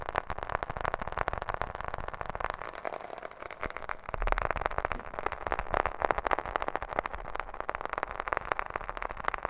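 A smartphone in a black plastic case is held near the microphone and tapped rapidly with long fingernails on the back and edges of the case. The result is a dense, continuous stream of short, crisp plastic clicks centred in the midrange, each dying away almost instantly.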